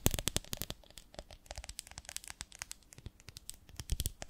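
Long nails tap and scratch the sides of a medium, ribbed, beehive-shaped glass jar with a lid, full of honey. It makes a quiet, rapid, irregular run of dry, bright clicks and scratchy crackles, each dying away almost at once, with a few louder taps near the start and end.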